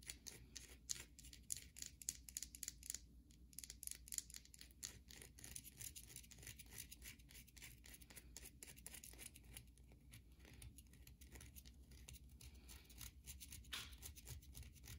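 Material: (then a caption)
Soap. A solid white bar of soap with a grooved face, held in the hand, is scratched across its surface by long nails. The result is a fast run of crisp, bright scratching and scraping clicks over a steady low hum, quiet throughout.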